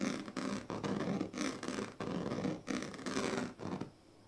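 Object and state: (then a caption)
Woven plastic sleeping mat. The tail of a pink plastic comb scratches back and forth across the strips of a large, flat, woven plastic sleeping mat. The result is a series of rough, raspy strokes with a ribbed, buzzing texture and a mid-range tone, each separated by brief pauses, before the sound fades into quiet at the end.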